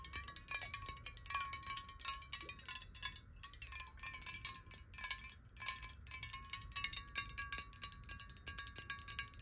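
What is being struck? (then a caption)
Glass water bottle. A clear glass water bottle, held horizontally and hollow with some water inside, is tapped rapidly with long nails. The result is a dense, quiet stream of short, bright clicks over a steady ringing tone near 1 kHz, with each tap dying away almost at once.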